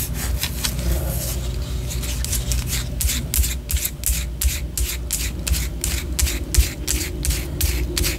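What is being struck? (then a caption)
Wax pillar candle. Long orange nails scratch a white solid wax pillar candle held low, producing quick, repeated bright scraping strokes at an uneven rhythm. A steady low hum sits underneath the dry, rasping scrapes throughout.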